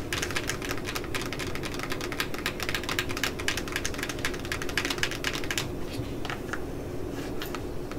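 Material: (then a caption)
Cardboard. Long polished nails rapidly tap and scratch the lid of a hollow, medium-sized printed cardboard Facetory subscription box, making dense, dry clicking and scraping sounds. After about five and a half seconds the taps thin out to a few scattered clicks, all over a steady low rumble.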